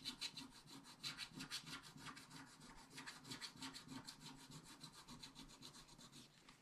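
A wooden stylus scratches back and forth across a black coated scratch-art paper page in a spiral book, removing the coating. The result is a quick, fairly steady series of dry, bright scraping strokes, about three per second, with little low end.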